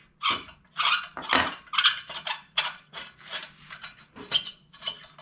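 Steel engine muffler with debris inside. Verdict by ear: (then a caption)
Loose. A tiller's steel engine muffler is shaken to check for bugs after exposure to the elements, producing a series of bright, dry metallic rattles from loose debris inside. The contents turn out to be just loose carbon buildup with only a little rust, not too bad.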